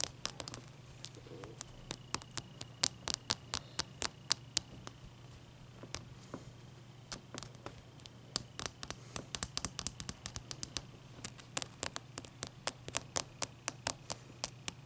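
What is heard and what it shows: Long dark nails tap and scratch the sides of a large, clear, solid ice block resting on a towel. About sixty sharp, bright clicks come in an irregular patter, with faint scratching between them over a steady low hum.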